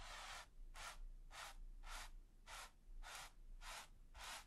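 A wide flat bristle brush with a gold ferrule and teal handle is rubbed and scratched rapidly over a flat, taut, smooth white primed canvas. It makes a quiet series of bright, hissy, dry scratching strokes separated by short pauses, over a faint low rumble.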